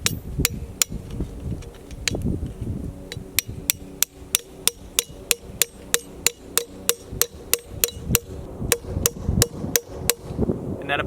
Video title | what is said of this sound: How to make Maple Syrup 🍁 - Part 1 - Tapping | that about deadened out right there